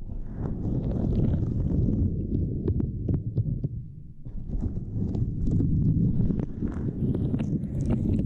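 Long nails and fingers tap and press a small, flat, purple silicone grid mat resting across a microphone. The result is a dense, muffled, low thumping rumble scattered with brief, sharp clicks. It eases briefly near the middle, then builds back up to a steady, busy patter.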